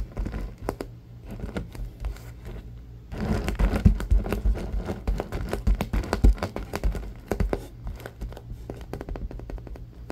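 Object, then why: Vinyl-covered stuffed cube. A palm-sized purple stuffed cube covered in shiny vinyl rests on a wooden table and is scratched and tapped with fingertips and short nails. Soft, dry crinkly scratches and dull taps come in quick irregular bursts over a steady low hum. The sound grows busier and louder after about three seconds, then eases off toward the end.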